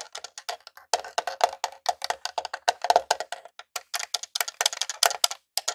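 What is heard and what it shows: Multiple fingertips and short nails tap rapidly across the top and purple switches of a small grey hollow plastic Super Nintendo Classic console. The result is a dense run of quick, dry, hollow clicks and knocks with a woodblock-like tone around 700 Hz and bright, crisp edges. Each tap dies away almost instantly.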